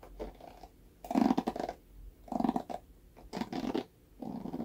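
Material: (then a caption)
Plastic. A red plastic paddle hairbrush with a black bristle pad is held by the handle while fingernails scratch across the bristles. The result is a series of dry, raspy scratching bursts with a low, papery body, separated by short quiet gaps.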